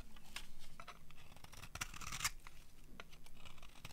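A metal utility blade scrapes shavings off the face of a solid, cream-colored dry soap bar. The scraping comes as a run of short, dry, rasping strokes with a bright edge, building to a sharper, louder scrape near the middle before continuing in lighter strokes.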